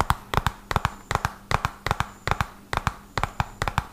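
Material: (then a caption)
Cardboard. A small, hollow, red-and-white printed cardboard medicine box is held up and tapped quickly with fingertips and short nails. Nineteen sharp, dry taps land in uneven bursts of two and three, each with a hollow low thump and a crisp papery click that dies away almost at once.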